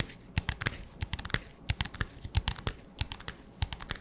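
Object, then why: Clear plastic disposable cup. An empty, transparent, hollow disposable plastic cup with a black lid and a label is held in the hands and tapped rapidly with fingertips and nails. The result is a quick, irregular run of dry, hollow clicks and taps with bright, crinkly edges, each cut off almost at once with no ring.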